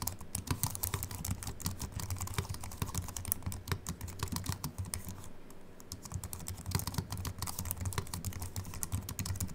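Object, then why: Slim aluminium and plastic computer keyboard. Both hands type quickly with their fingertips on a slim Apple Mac keyboard with a silver aluminium body and white plastic keys, resting on a wooden desk. Rapid, dense streams of short, bright key clicks sit over soft low thuds, each dying away almost instantly. The typing eases briefly around the middle before picking up again.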